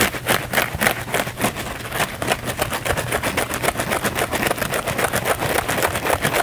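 A thin, flexible blue foam sponge, held close in both hands, is scratched fast and aggressively with the fingernails. The sound is a dense, steady stream of short, bright, rasping scrapes that repeat rapidly at a slightly uneven rhythm, with little low-end weight.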